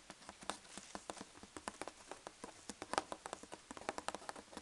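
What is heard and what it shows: Fingertips and long nails tap rapidly on the folded-over flap of a large corrugated cardboard box filled with packing peanuts. About 25 short, dry taps sound in quick, uneven succession, each a crisp papery knock with a bright edge that dies away almost instantly. The result is a light, patter-like rhythm with little low end.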